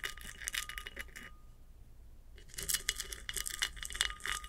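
Long acrylic nails scratch the rough, sandy lower band of a large hollow ceramic vase standing upright. Quick, bright, dry rasping strokes come in clusters, fall silent for about a second, then resume more densely. A faint steady tone sits underneath throughout.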